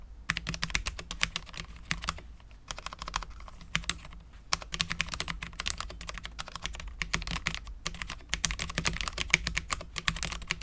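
Both hands type continuously with their fingertips on a full-size Cherry MX10.0 low-profile mechanical keyboard with Cherry LP switches, dark ABS keycaps and a steel plate. Rapid, bright, short clacks run throughout, with a steady low undertone and brief lulls near the 3- and 4.5-second marks before the fast typing resumes.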